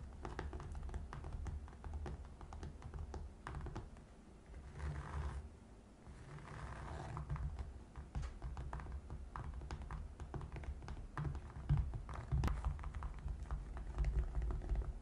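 Long red nails tap and scratch the flat top of a box covered in gray felt-like fabric. Rapid, soft, muffled taps come in dense runs, broken by brief brushing scratches around the five- and seven-second marks. The sound stays low and dull throughout.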